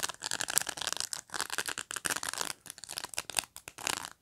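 Fingertips and nails pluck and scratch along the rows of dense plastic pins on a black pet brush. The result is a rapid series of dry, crackling, bristly scrapes, bright and hissy with almost no low end, arriving in short bursts separated by brief pauses.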